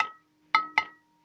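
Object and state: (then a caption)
Resonant ringing speaker mount. Three taps on a homemade mounting holding a Dayton Audio DTA-1 amplifier each give a bright clink that rings on in sustained tones around 1.3 kHz, 2 kHz and a lower hum near 300 Hz. The mount rings excessively, which is a problem for it.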